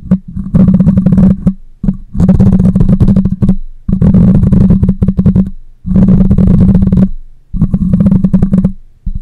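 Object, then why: Metal mesh microphone grille. Long nails scratch the side of the cylindrical metal mesh grille on a black condenser microphone. The result is repeated bursts of dense, crackly scraping lasting one to one and a half seconds each, separated by brief pauses. The sound is heavy and boomy in the low end with a steady low drone and little high-end content.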